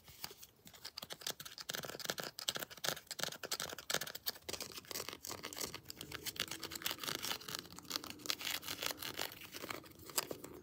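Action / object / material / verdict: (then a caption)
tap / molded plastic action figure / plastic / none. Long blue nails tap and scratch the body and head of a molded plastic Predator action figure with textured armor, held in both hands. Rapid, dense, bright clicks and dry scratching rasps overlap continuously, each tap short with almost no ring.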